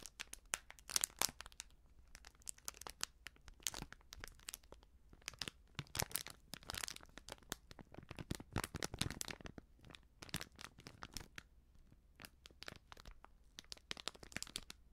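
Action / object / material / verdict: shake / small foil sachet of baking soda / foil / none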